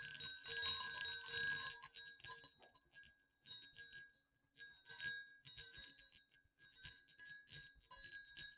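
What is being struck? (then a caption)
Pair of small metal jingle bells on a cord. Two small hollow silver metal jingle bells on a cord are shaken gently over dark fabric. They give bright, high jingling in irregular bursts, loudest at the start, then softer shakes separated by brief pauses. Each burst's tinkling ring fades within about a second.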